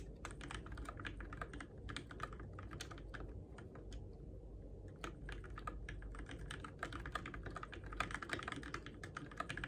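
Fingertips type steadily on the plastic keycaps of a Keychron K6 compact RGB-backlit mechanical keyboard, used in the dark. Many quick, crisp, bright clicks come in fast runs and short pauses, with brief gaps of quiet. A low, steady hum sits underneath the taps.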